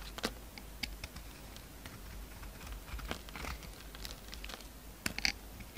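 A pink utility knife shaves the surface off a solid red glitter DURU soap bar with a pinkish-white core. The clip is full of quiet, dry scraping and cutting with short, bright ticks and crisp scratches. There are sharper peaks near the start and around the five-second mark.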